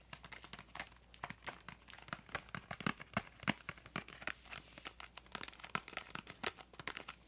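A small printed yellow-green cardboard crayon box is held up in both hands while long nails tap and scratch its printed surface. Many quick, dry taps and scratchy crinkles come in an irregular stream, each short and bright with almost no ring, over a faint low hum.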